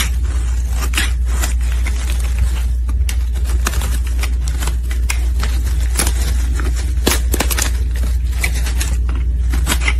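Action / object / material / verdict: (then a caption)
scrape / bar of soap shaved with a metal blade / soap / none. A solid rectangular peach soap bar, held in a gloved hand, is shaved into thin curls with a metal blade. Repeated crisp scraping and cutting strokes sound over a steady low hum, with bright, sharp transients as the blade slices through the soap.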